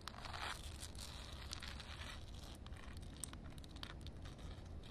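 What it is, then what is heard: Wet concrete slab. Long painted nails tap and scratch across a wet concrete slab, solid concrete under a shallow water film. Bright, gritty scraping and crinkly rustles run steadily over a low, constant rumble, with short sharp taps standing out here and there.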